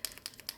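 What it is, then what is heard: Paint marker with free-rolling mixing ball. An acrylic paint marker is shaken up and down after a flick, and its free-rolling mixing ball rattles inside to mix the paint. Five short, bright clicks ring out with almost no low end, each dying away almost instantly. The free rattle is the sound you want, showing the ball is rolling properly.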